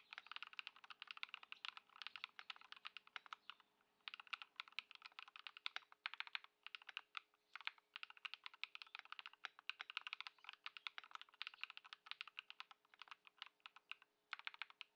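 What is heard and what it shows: Both hands type continuously on a white Ducky One 2 SF mechanical keyboard with plastic keycaps, modded with Poron foam and Lumia Matcha switches, resting on a dark mat on a wooden desk. Rapid, dry, bright clicks and clacks run in steady bursts with short pauses near 4 and 14 seconds, each keystroke cut off instantly. A faint steady low hum sits underneath.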